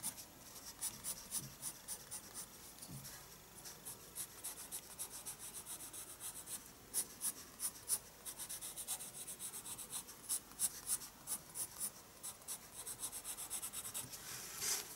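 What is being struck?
Pencil on a paper sketchbook page.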